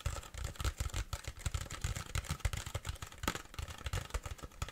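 A large, empty, hollow clear plastic (PET) water bottle with a paper label is tapped rapidly with long fingernails. The steady run of quick taps gives dull, hollow low thumps, each with a faint bright click on top, and every tap dies away almost at once.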